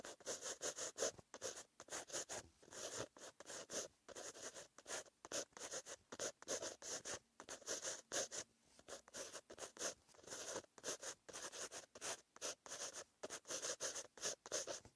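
A pen tip with green ink scratches across a white lined paper notebook page while writing. The sound is a dry, bright scratching in quick short strokes broken by brief pauses, with almost no low end.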